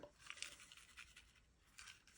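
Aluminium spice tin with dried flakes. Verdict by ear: Not empty.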